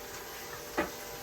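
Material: Nothing is struck.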